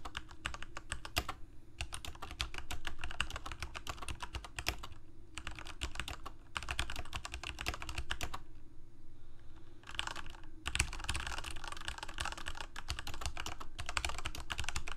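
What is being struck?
Plastic mechanical keyboard.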